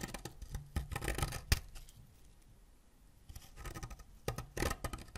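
A white ceramic knife blade scrapes a solid green wax crayon over colourful wax shavings, making quick dry, grainy scratching strokes with a bright rasp over a dull low thud. The scraping comes in bursts with a sharp loud stroke, pauses nearly silent for a moment, then resumes in uneven strokes.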